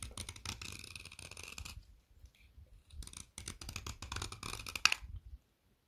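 A finger-sized, solid orange stick of chalk-like pressed soap is held in the fingers while a metal blade shaves and scrapes crumbly flakes off its end. Dry, bright scratchy scraping comes in two dense stretches separated by a quieter pause with a few soft scrapes, then stops abruptly near the end.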